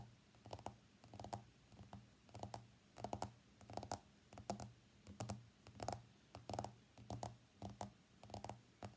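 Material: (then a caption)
Glass. Fingernails of both hands tap rapidly on the glass screen of an iPhone X lying face up on a mat. The quiet, dry clicks come in uneven bursts, with a steady low hum beneath them. Each tick dies away almost at once.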